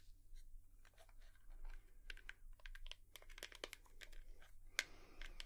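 A hairbrush is tapped with long nails, giving a quiet, irregular run of short, bright clicks and soft crinkly ticks over a steady low hum. The taps die away almost instantly, and one sharper, louder click stands out near the end.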